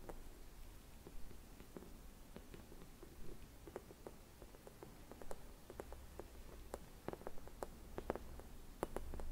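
Long red nails tap and scratch the surface of a clear hollow glass bauble with a white swirl print and a skeleton leaf inside. Quiet, irregular clicks with brief high glints sit over a soft scratching texture and a low background rumble.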